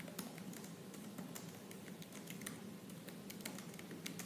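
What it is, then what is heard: Laptop plastic keyboard typing. Fingertips with purple nails type at a slower pace on the black plastic keys of a silver laptop keyboard. Quiet, bright clicks tap out in a steady patter over a soft, constant low hum.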